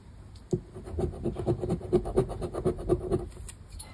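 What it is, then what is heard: Lottery scratch card being scratched. A thin paper lottery scratch card, "Palavras Sortudas BÓNUS", lies on a wooden table and is scratched repeatedly with the edge of a black round plastic scraper disc. Quick, uneven scraping strokes rasp across the coating with a dry, papery texture. The strokes come in an irregular rhythm.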